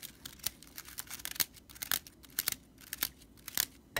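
Fingertips and nails scratch the stitched straw body of a broomcorn straw whisk broom, then a hand grips and rubs its bristles. The result is quiet, dry, bright crackling rattles in short, irregular bursts with no lingering ring.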